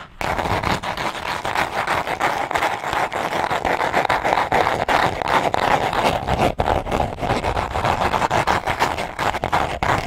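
Long nails tap and scratch rapidly on a small, hollow, dark green cardboard box. The result is a dense, irregular run of dry scratches and light knocks with a hollow midrange tone, continuing steadily for about ten seconds with only brief dips.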